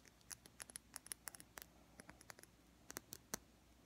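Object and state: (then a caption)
Glass foundation bottle. Long painted fingernails tap a small, seemingly full glass bottle of liquid foundation with a black plastic cap. About nineteen quick, dry, bright clicks come in an uneven run, each dying away almost instantly over a faint, quiet background.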